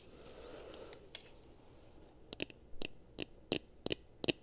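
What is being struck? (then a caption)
Plastic game controller. Long fingernails tap and click on the buttons of a hollow, handheld gold/chrome plastic Xbox 360 controller. After a quiet, hissy start, an irregular series of short, dry clicks and taps follows, each with a bright edge and a hollow low-mid knock. The taps grow louder toward the end.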